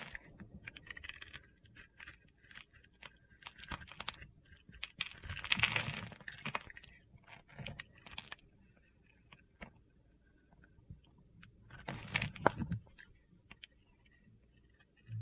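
A utility knife carves scored cubes off the surface of a solid blue-rimmed white bar of soap held in the hand. Soft, gritty scraping and crisp crunchy clicks run through the clip, with louder crunching bursts around 5 to 6 seconds and again near 12 seconds.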